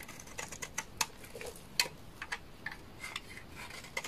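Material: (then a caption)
Soap. A hand-sized solid orange bar of dry laundry soap is scraped with a utility knife blade, and shavings fall away. Short, crisp, bright scratches and ticks repeat unevenly over a faint steady hiss, with a few louder snaps that die away almost at once.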